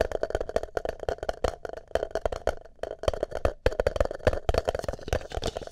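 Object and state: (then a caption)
Plastic cup tapped and scratched. Fingertips and nails rapidly tap and scratch the outside of a single empty green plastic party cup with a shamrock print, held hollow side over a microphone. The result is a dense, irregular patter of short, hollow, boomy knocks with a resonant tone around 500 Hz, mixed with light scratching.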